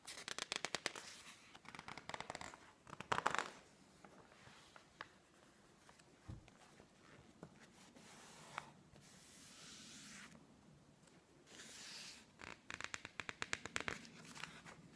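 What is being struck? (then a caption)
Glossy paper magazine pages. A thick, open interior-decoration magazine with glossy paper pages lies on a wooden table while fingertips and palms rub, squeeze and turn the pages. Bursts of quick, bright crackling and rustling come at the start, around the middle and at the end, separated by softer, steady brushing. The sound is dry and quiet, with most energy in the high range.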